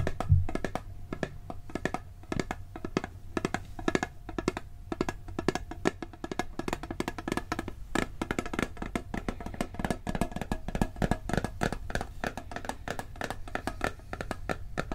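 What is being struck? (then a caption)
Steel cookie tin. A hollow, round blue steel cookie tin is tapped rapidly with fingertips on its side and lid. The result is a steady stream of quick, dry taps with a low, hollow resonance and very short ring.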